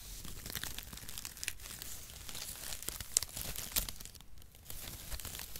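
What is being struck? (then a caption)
Shredded cardboard packaging. A mat of brown cardboard packaging shreds is held flat in both hands and crinkled and squeezed with the fingers. It makes a steady, dense crackle of bright, dry crinkling and tearing-like rustles over a low rumble, with a few sharper snaps standing out.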